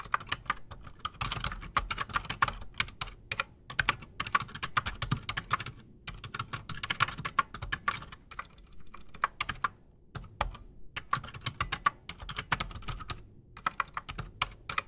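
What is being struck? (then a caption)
Mechanical keyboard with PBT plastic keycaps. Both hands type fast with their fingertips on a solid, full-size black Redragon Shrapnel K589 mechanical keyboard with Outemu Silent Sky silent switches and Razer PBT plastic keycaps, resting on a desk. The result is a steady stream of soft, muted keystroke clicks centered around 1.2 kHz with a low thump beneath, each click dying out almost instantly, with brief pauses between bursts.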